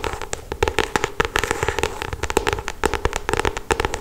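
Long acrylic stiletto nails rapidly tap and scratch the glossy paper cover of a solid paperback novel. The result is a fast, irregular run of sharp, dry clicks with a bright edge, separated by soft scratchy rustling.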